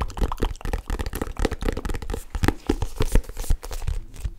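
Long manicured nails and fingertips tap and grip the black faux leather cover of a solid, roughly notebook-sized hardcover planner held upright close to the mic. The result is a quick, uneven stream of short, dull, bassy knocks and soft scratchy grips that stop almost instantly.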